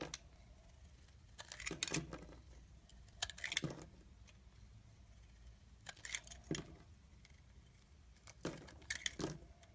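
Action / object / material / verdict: scrape / soap bar cut with a knife blade / soap / none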